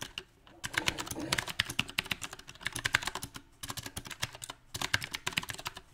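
Fingertips of both hands type on a compact backlit mechanical keyboard with round plastic typewriter-style keycaps. Quick, bright clicks and clacks come in uneven bursts with short pauses between them. Each keystroke is sharp and dies away almost at once.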